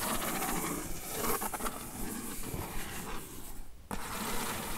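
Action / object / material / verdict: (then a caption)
scrape / corrugated cardboard sheet / cardboard / none. A single long fingernail traces across a flat brown corrugated cardboard sheet, then the long nails of both hands rest on it and scratch it lightly, making a soft, rasping scrape with a low rumble beneath. The scratching dips nearly silent for a moment near the end, then picks up again.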